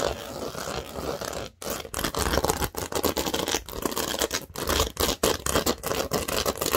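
Long nails scratch fast over the studs of a large, thin, green plastic Lego baseplate. The result is a dense, rapid, crackling scrape in quick bursts, broken by brief gaps, with a bright, gritty edge across the highs.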